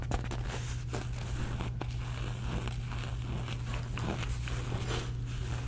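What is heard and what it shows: A soft, hollow polka-dot fabric cosmetic pouch, held in hand, is scratched and rubbed with long red nails, giving a continuous papery scratching and rustling with brief sharper scrapes. A steady low hum runs underneath throughout.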